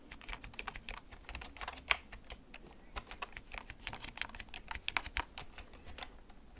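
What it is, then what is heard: Plastic computer keyboard. Fingertips tap the keys of a hollow, backlit plastic gaming computer keyboard that is held and tilted, making about 27 short, bright, clicky taps at an unhurried, uneven pace. Each tap dies away almost instantly, with a sharper, louder click near the two-second mark.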